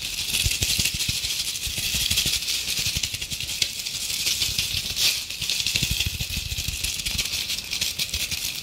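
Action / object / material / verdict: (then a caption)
scrape / glitter-coated decorative apple ornament / glitter coating / none. A fist-sized, red glitter-coated apple ornament is held in both hands and scratched and tapped with long painted acrylic nails. The result is a dense, continuous, bright rattling scrape, with quick, sharp taps scattered through it and very little low end.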